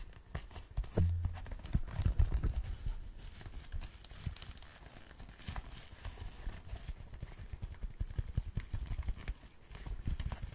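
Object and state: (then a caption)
Leather motorcycle glove being scratched. Fingertips and short nails scratch and rub an empty black and red leather motorcycle glove with ribbed padding. The result is a close, rapid, irregular stream of soft scratches and muffled low thuds. A heavier rubbing burst comes near the start before the sound settles into steady, quieter scratching.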